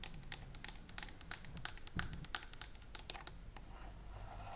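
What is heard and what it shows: Long nails and fingertips tap quickly over a green and white plastic steam iron with a hollow plastic body and a clear water tank. The result is a dense run of short, bright clicks and hollow knocks over a low background rumble.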